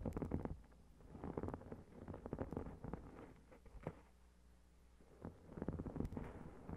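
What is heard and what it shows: Long red-painted nails tap and scratch a notebook with a shiny gold metallic foil reflective cover, which is then held by its edges. Soft, low, rumbly scratching and clustered taps come in bursts, with a quiet lull near the middle before the tapping and scratching resume.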